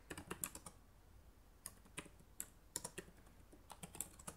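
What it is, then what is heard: Plastic laptop keyboard. Fingertips with long nails type on the plastic keys of a black laptop keyboard, making quiet, bright clicks and taps. The sixteen keystrokes fall in irregular bursts with a pause around the middle, each one dry and short with almost no ring.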